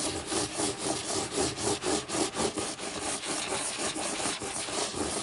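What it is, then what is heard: Hardcover book spine scratched with nails. Long nails scratch and tap the lime-green board spine of a closed hardcover book lying on its spine. Quick, fairly steady back-and-forth rasping strokes, about four per second, give a dry, broadband scratching texture with little low end.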